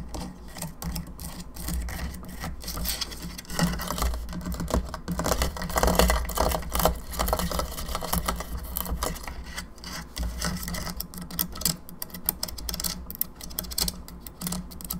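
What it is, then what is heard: Plastic skull lamp tapped with nails. Long nails tap on the teeth and jaw of a hollow plastic skull candelabra lamp, making quick, irregular clicky taps. A steady low hum sits underneath throughout.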